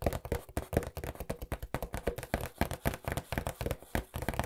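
A hollow cardboard pizza box, held upright and at times tilted on its edge, is tapped rapidly with fingertips about 24 times. Each tap is a short, dull, low thud that dies away almost at once.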